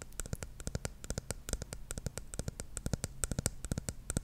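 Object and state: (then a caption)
Plastic shampoo bottle. Long nails tap rapidly on the top of the silver cap and the body of a dark plastic shampoo bottle. The result is a quick, uneven run of short, dry clicks, each with a soft low thud and a bright tick that dies away almost at once.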